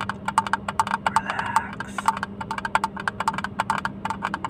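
A small, hollow blue plastic hinged case, opened and empty and held close to the mic, is tapped with fingertips and nails. The result is a rapid, uneven series of short, dry clicks and knocks, each with a hollow ring around 890 Hz and a bright edge. A faint steady low hum sits underneath.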